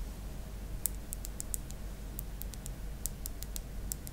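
Long black acrylic nails tap rapidly along the body of a slim, white, hollow plastic stylus held across a tablet. The result is a quick scatter of sharp, bright, dry clicks that die away instantly, heard over a quiet low rumble.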